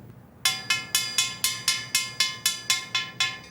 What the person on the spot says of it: the pitch is higher right because the sound wave is traveling the direction of the pipe and that's called a longitudinal vibration